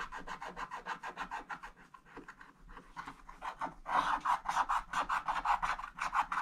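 A wooden stick scratches the black wax coating of a scratch-art book page lying flat, first in quick back-and-forth strokes and then working along the drawing's outline. Each stroke gives a dry, raspy scrape centered around 1 kHz with bright edges, repeating rapidly and slightly unevenly. The scraping grows noticeably louder and harsher in the second half.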